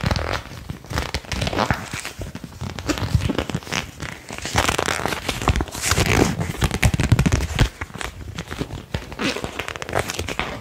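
A single thin, flat, flexible printed paper card is held in both hands and bent and flicked with the fingertips and thumbs. It makes a steady stream of dry crinkling snaps and crackles that run the full ten seconds, each snap sharp and quickly damped. Louder bursts swell in the middle of the clip.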